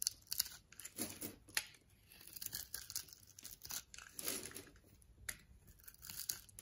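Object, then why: Bar of soap scraped by a knife blade. A utility knife blade scrapes and shaves the surface of a solid orange and white striped bar of soap held in the palm. Quiet, bright, crisp shaving strokes with a papery, tearing texture come in short bursts, each dying away almost instantly, with a few softer, lower scrapes in between.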